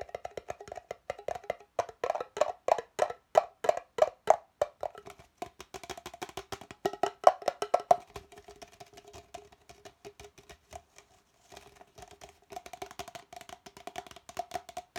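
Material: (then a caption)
Plastic. An empty, hollow red plastic party cup is held tilted in one hand and tapped rapidly with the fingertips and nails of the other hand. Dry, hollow clicks ring for only a moment, centered on a pitch near 740 Hz with a lower tone near 400 Hz and faint bright ticks. The tapping runs in irregular bursts, louder in the first half, and pauses briefly near 11 seconds before resuming softer.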